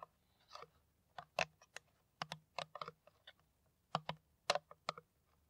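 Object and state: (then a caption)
Plastic water bottle tapped with nails. Long nails tap on an empty, hollow, clear ridged PET plastic water bottle that has its cap on and is held upright. Irregular bursts of quick, dry, clicky taps are heard, with a mid-range tone around 600 Hz and bright edges, each tap dying away almost instantly.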